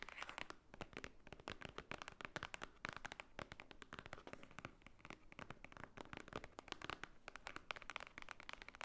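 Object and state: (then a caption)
Thick paper book block. Long painted fingernails tap and scratch across the top of a thick, solid, book-like stack of white paper lying flat on a table. Rapid, dry clicks and crisp papery scratches come in a dense, steady stream for about nine seconds, each one dying away almost instantly.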